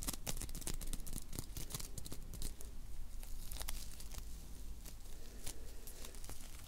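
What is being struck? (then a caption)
Foam bead clay. A small solid ball of blue foam bead clay is pinched, squeezed and rolled between the fingertips and long nails of both hands. It gives off a dense run of crunchy, crinkly bead crackles over a low, steady hum, with bright clicks scattered throughout.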